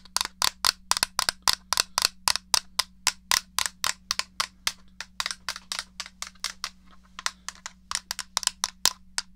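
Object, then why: Plastic game controller. Nails tap the case of a small, hollow grey plastic SNES controller and press its buttons, making about forty sharp, bright plastic clicks and taps at an uneven, quick pace. Each sound stops almost instantly, with no ring, over a faint steady low hum.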